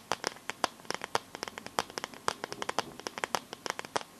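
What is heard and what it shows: Long nails scratch and tap the back of a smartphone in a clear pink plastic glitter case. The result is a quick, uneven run of sharp, dry clicks and scratchy ticks, bright and crisp with almost no low end. Each one stops instantly, with quiet hiss between them.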